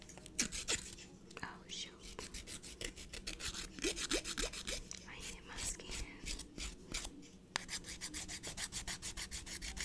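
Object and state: Emery nail file on fingernail.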